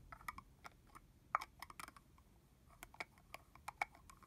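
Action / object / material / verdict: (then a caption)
tap / plastic spray bottle with plastic cap / plastic / none. A medium red translucent plastic body-mist bottle with liquid inside and a hollow red plastic cap on is held in both hands and tapped on the cap and body with long manicured fingernails. About sixteen quick, dry clicks come in irregular bursts, with a bright midrange tone and almost no ring.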